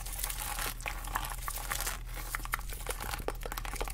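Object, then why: Whole pineapple with rough rind. A whole fresh pineapple with a leafy crown and rough, solid rind is held in the hands and scratched and tapped with long acrylic nails. Dense, crinkly scratching runs throughout, broken by short, sharp ticks and brighter clicks. A steady low hum sits underneath.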